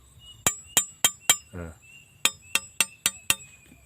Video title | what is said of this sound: TIPS MEMILIH ARIT YANG TAJAM,DAN CIRI CIRI ARIT YANG TAJAM. | kalau bunyinya Ting Ting Ting itu pertanda bahan bakunya adalah bagus atau baja